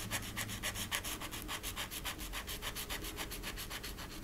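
A green marker tip rubs and scratches across a small, flat, thin, solid wooden rocking horse cutout ornament held by fingertips with long painted nails while coloring it. Quick, fairly steady back-and-forth scratchy strokes repeat at a brisk pace, with a dry, bright, papery texture and a faint low rumble underneath.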